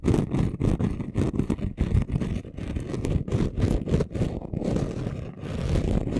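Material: Glitter sheet.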